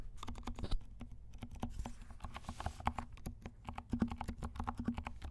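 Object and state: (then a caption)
Mechanical keyboard with silent switches. Both hands type quickly with their fingertips on a compact mechanical keyboard with black and pink plastic keycaps and silent switches. The result is a steady run of soft, muted taps that are heavy in the low end, each one dying away almost at once.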